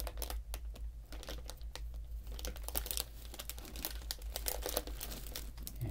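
A medium printed plastic foil candy bag in blue and pink, sealed and seemingly full, is held in both hands while the fingertips crinkle and squeeze it, then it is turned over to show the back. Dense, bright crinkling and sharp crackles run throughout over a steady low hum, growing a little busier and louder in the second half.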